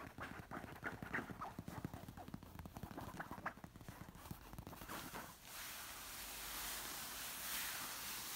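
Long nails scratch and tap a large, soft stuffed orange pillow covered in silky fabric, making a quick, uneven run of crisp scratches and soft taps. After about five seconds this gives way to a steady, bright, hissing rub across the fabric that continues to the end.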